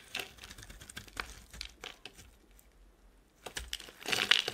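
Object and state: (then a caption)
Soap bar shaved with a blade. A solid rectangular soap bar with a gold-painted surface and white interior is held in the hand and shaved into curls with a utility knife blade. Quiet, crisp, bright scraping and cutting strokes come in quick bursts, then a brief near-silent pause, and finally a louder, denser run of shaving at the end.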